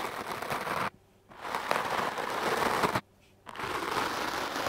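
A foam microphone windscreen held in the hand is brushed with a wooden, hard-bristle clothes brush. Scratchy, hissing strokes come in three long bursts separated by two brief silences, with the rough texture centered in the midrange and reaching up into bright hiss.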